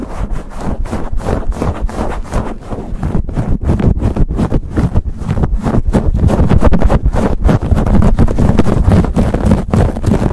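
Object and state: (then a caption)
Foam microphone windscreen being scratched. Fingertips and short nails scratch and rub fast and aggressively with both hands over a soft, hollow, fist-sized black foam cover on a silver USB condenser microphone. The result is a dense, muffled, low-heavy stream of rustling scrapes and thumps, with rapid, uneven strokes at roughly three per second. It grows somewhat louder in the second half.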